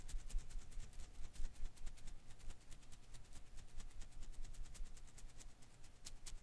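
A hand-sized blue and green rubber-filament Koosh ball is held in one hand while the fingers quickly shake and rub its strands. The result is a rapid, uneven stream of soft, bright rustling ticks over a low, dull rumble, with a faint steady hum beneath.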